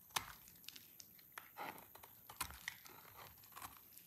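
A black knife blade shaves thin curls off the edge of a solid, partly carved, dry orange soap bar held in the hands. Quiet, dry, crisp scraping and crumbly crunches are heard as a series of short, bright, high-pitched snaps with almost no low end. Each cut stops abruptly with no ring.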